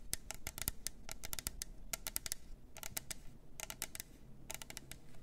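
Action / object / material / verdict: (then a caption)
tap / plastic tumbler cup with lid / plastic / none. Long nails tap quickly on the sides of a hollow plastic glitter tumbler with a lid. Sharp, bright clicks come in rapid clusters with short pauses between them. Each tap dies away almost instantly over a soft low rumble.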